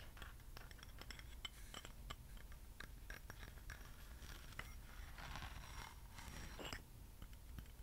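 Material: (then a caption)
Metal. A small, hollow, openwork metal acorn-shaped candle holder is held in the hand close to the microphone and tapped and scratched with fingernails and rings. Quiet, bright metallic clicks, ticks and short scraping rasps come in quick succession over a steady low background rumble, with a brief louder scratch near the end.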